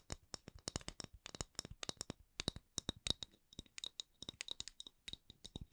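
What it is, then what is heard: Wooden candle lid. Fingertips tap and scratch on the wooden lid of a candle in slow-to-medium ASMR tapping, with no talking. Dozens of short, dry, bright clicks fall in irregular clusters, each dying away almost instantly with a faint low knock beneath.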